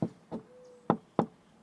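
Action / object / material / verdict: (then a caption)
knock / synthetic stucco wall finish over foam insulation (EIFS) / foam / hollow. Four hand taps on a stucco-finished exterior wall, an EIFS over foam insulation, give short, dull, hollow knocks with almost no ring. The hollow sound suggests a moisture-drainage EIFS rather than hard-coat stucco, though this is not certain.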